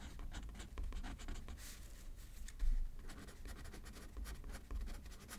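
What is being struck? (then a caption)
Pen on thin paper card over a paper pad. A pen writes left-handed on a thin paper card resting on a paper pad. It makes quiet, bursty scratching strokes with bright, papery hiss over a soft low rumble, with a few louder strokes standing out.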